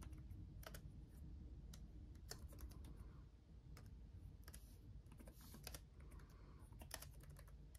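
Both hands type with their fingertips on a black laptop keyboard with RGB-backlit plastic keys. The result is a steady run of short, crisp plastic taps with bright highs over a low, constant rumble.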